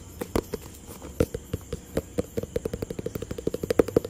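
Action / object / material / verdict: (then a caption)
tap / cardboard box / cardboard / none. A hollow, rectangular white, grey and blue cardboard product box is tapped and scratched with fingertips and nails. There are 26 quick, dry knocks, some heavier than others, with a hollow tone around 460 Hz. Faint scratching fills the gaps, and nothing rings after each tap.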